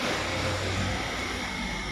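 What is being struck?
Nothing is struck.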